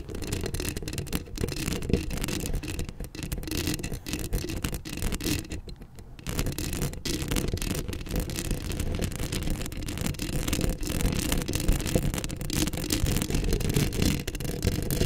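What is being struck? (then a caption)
Metal mesh microphone grille. Long acrylic nails scratch steadily across the hollow metal mesh grille of a black Blue Yeti microphone, held close. The result is a dense, continuous rasping scrape with a heavy low-end rumble and little high-end sparkle, easing briefly around the six-second mark before resuming at full intensity.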